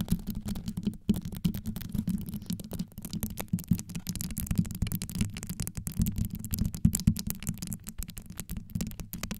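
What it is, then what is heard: Rhinestone-covered microphone grille. Long yellow nails rapidly scrape and scratch across the stones of a hollow, rhinestone-covered metal microphone grille, working from the top and sides. The result is a dense, continuous run of quick scratchy strokes with a deep, boomy low-end rumble around 170 Hz and very little high-end content.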